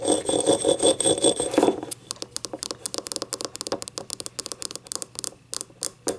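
Long painted nails scratch the ribbed outer wall of a small, hollow, empty yellow ceramic cup lying on its side on a table, making a dense, bright rasping for nearly two seconds. Then the nails switch to tapping, giving a quick, uneven run of short, sharp clicks with almost no ring.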